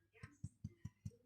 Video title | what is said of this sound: Homemade rosemary and onion bread with fresh butter, apple chutney and isle of mull cheddar | it's got a dull thud, which means it's cooked